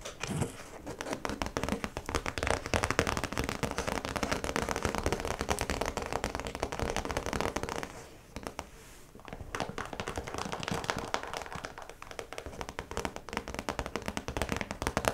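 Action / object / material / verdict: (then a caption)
tap / clear plastic zip pouch / plastic / none. Long pointed nails on both hands tap and scratch across the clear plastic top of a round cosmetic zip pouch with yellow trim, which lies flat with a printed card inside. A dense, continuous crinkly crackle of quick clicks and scrapes fills the clip, easing briefly around the middle before picking up again.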